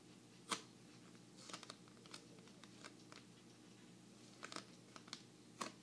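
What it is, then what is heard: Large paper playing card. An oversized thin paper playing card, the seven of hearts, is held in both hands while fingertips and nails tap, flick and bend it. The result is a quiet, steady rustle broken by short, crisp, bright clicks and snaps at irregular intervals, each dying away almost instantly.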